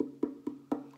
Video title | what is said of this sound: Violin Music with Mrs. Ketchum | If I gently tap on this, you can hear that it's hollow.